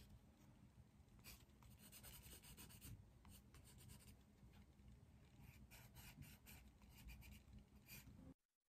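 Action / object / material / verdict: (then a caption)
scrape / pencil on a paper drawing pad / paper / none. A dark green pencil is rubbed vigorously over a sheet of a large white paper drawing pad on a desk while shading a leaf drawing. The result is a continuous, quiet scratchy rasp with bursts of brighter hiss as the strokes change. The sound cuts off abruptly just before the end.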